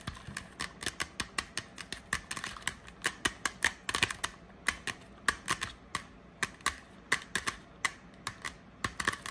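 A medium-sized Febreze Air Mist aerosol spray can, with a hollow aluminum/metal body and a plastic cap, is held in hand and tapped and scratched with long painted nails. It makes fast, irregular, sharp clicks that die away almost at once, with a bright metallic ping around 1.7 kHz and a thin scratchy hiss between taps.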